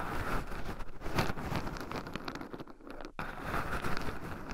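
Two wooden chopsticks stir and poke loose shelled pine nuts in a small round wooden bowl filled with them, with two black microphone cables running over the bowl rim. A dense, continuous stream of dry clicking, rattling and crinkly rustling is heard, with a brief sharp drop to near silence just after three seconds before the stirring resumes.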